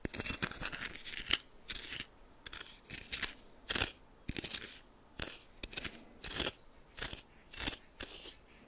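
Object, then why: Coarse salt grains in a small bowl stirred with a plastic spoon. A red plastic spoon repeatedly stirs and scrapes coarse white salt in a small bowl. Short bursts of bright, gritty crunching and rasping follow one another with brief quiet gaps, and the sound sits mostly in the high range with little low end.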